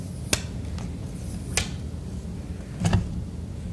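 A fingertip and nail tap the clear plastic flashlight lens on the red plastic end of an emergency radio. Brief, bright clicks with very short ring sit over a steady low hum, and the last taps come as a close pair.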